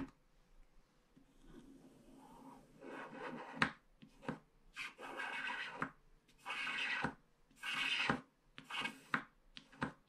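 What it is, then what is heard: Scratch-art card being scraped. A wooden stylus scratches the black coating off the edge strip of a flat paper scratch-art card, leaving loose flakes. Dry, bright rasping strokes come in uneven bursts, punctuated by short sharp ticks where the tip catches and lifts off the card.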